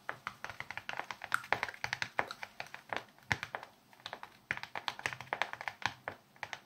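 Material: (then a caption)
Plastic. A small red plastic block with a grid of raised bumps, held in both hands, is tapped and scratched across its bumpy surface with fingernails. The result is a rapid, irregular stream of short, dry, crisp clicks and taps, mostly in the mid and high range with almost no low end. Each click stops instantly, with no ring.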